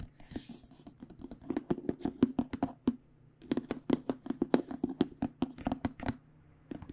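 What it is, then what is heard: Aluminum hard case. An aluminum-framed hard case lies flat and is tapped on its top with fingertips and nails. After a brief soft hiss, about 28 quick, dry taps with a low hollow tone come in uneven bursts, with a short pause just before the midpoint.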